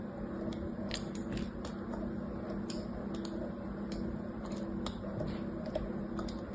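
A thin blade scores lines into the top of a small, solid, cream-colored bar of soap, one of several lying on a blue cloth, while a hand steadies it. Soft, crisp scratching and scraping strokes repeat throughout, with brief bright streaks over a steady low hum.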